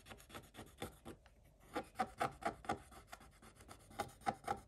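A wooden stick scratches the black coating off a scratch-art paper page in quick, slightly uneven back-and-forth strokes, about sixteen in all, with a brief gap near the middle. Each stroke is a soft, dry rasp, and the later ones carry a faint squeak around 770 Hz. The coating scrapes away quietly, with little low end.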